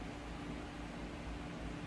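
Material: Nothing is struck.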